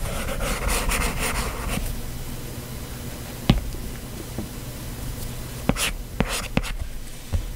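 A stylus with a plastic tip sketches hair on an iPad glass touchscreen. It makes a dense run of soft, breathy scratching strokes for the first couple of seconds, then quieter rubbing, then five separate sharp, bright ticks as the tip taps and flicks across the glass.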